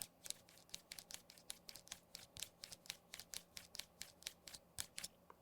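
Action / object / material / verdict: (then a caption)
scrape / metal buttons on a fabric phone case / metal / loose. A finger rubs over the loose metal buttons of an Apple FineWoven iPhone case close to the mic. The buttons flop and rattle, making a rapid series of short, bright clicks with almost no low end. The rattle is an annoying flaw: the buttons move around and make noise even when they aren't being pressed.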